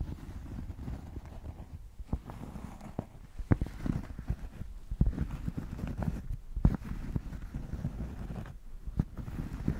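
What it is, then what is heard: Thick cork square, scratched and tapped. A thick, solid cork square is held in both hands and scratched and tapped with long nails. A steady, muffled, low-pitched scratching rumble runs throughout, broken by short, sharp taps that die away almost instantly.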